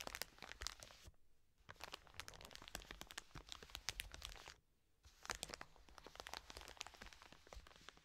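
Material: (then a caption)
Plastic. Long nails scratch and tap on a full, soft plastic wet wipes pack resting on a table. The result is dense, bright crinkling and crackling with quick sharp ticks. The sound breaks off twice for brief near-silent pauses.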